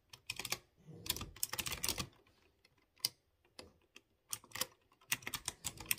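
A light blue plastic mechanical keyboard with typewriter-style round chrome-rimmed keycaps on clear-housed blue switches is typed by fingertips in rapid key presses. Bursts of sharp, bright clicky taps come in quick clusters separated by short pauses, each tap dying out almost at once.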